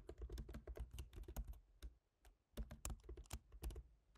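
Fingertips type on the black plastic keys of a silver MacBook Pro's aluminium laptop keyboard, making quick, soft taps with a low thud and a light bright click. Typing runs in fast bursts, pauses briefly near the middle, then resumes.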